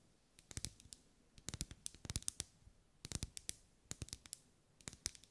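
Long acrylic nails tap on a lit pink, ribbed, solid wax pillar candle, making quick bursts of sharp, bright clicks. Each tap is dry and stops at once, and the whole sequence is quiet.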